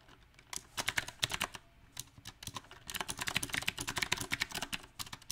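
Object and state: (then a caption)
Mechanical keyboard with round plastic keycaps. Fingertips of both hands type on a small 68-key backlit mechanical keyboard with round typewriter-style plastic keycaps set on a silver metal plate. The bright, sharp clacks come in an uneven rhythm, with quick bursts and short pauses between them. Each keystroke stops almost instantly, with no ring.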